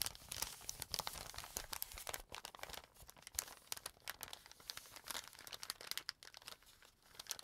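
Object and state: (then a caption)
Paper bag, crinkling. An empty brown kraft paper bag has its folded layers handled and flicked by fingers with painted nails. The result is dense, bright crinkling and crackling with many quick snaps. The sound is quiet and mostly high-pitched, with little low end.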